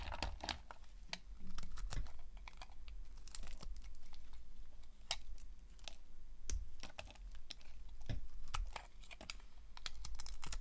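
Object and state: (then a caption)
Dry soap bar being cut. A utility knife blade cuts crisp slices and flakes off a solid, dry, cream-white bar of soap held in the hands. Repeated sharp, bright crackling scrapes sound over a steady low rumble.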